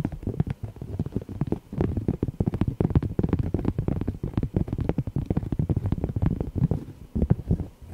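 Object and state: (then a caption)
Cork coaster. Fingernails tap and scratch the surface of a thin, solid, heart-shaped cork coaster printed with "love," about 10 cm across and held in both hands. The result is a dense run of soft, muffled, low-pitched taps and scuffs with almost no bright edge, each one dying away almost at once.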